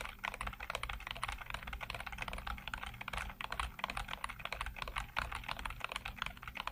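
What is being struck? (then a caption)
Plastic computer keyboard. Fingertips rapidly tap and type on the hollow keycaps of a full-size black plastic computer keyboard. The result is a quick, continuous stream of short, bright plastic clicks with little ring, over a faint steady low hum.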